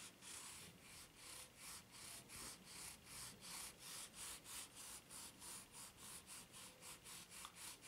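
Long nails scratch and rub the serrated ridges of a white ridged rubber flip-flop sole held bottom-up. A steady, rhythmic run of bright, hissy scraping strokes repeats about three times per second, with little low-end body.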